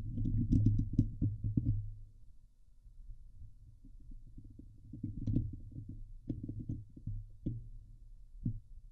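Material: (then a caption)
Steel mesh. Long nails of both hands scratch the hollow steel mesh grille of a Blue Yeti microphone, making a dense, low, rumbling scrape with sharp clicky taps. The scratching is loudest and busiest for the first two seconds, drops to a quieter rustle, then returns in scattered bursts of taps and scrapes.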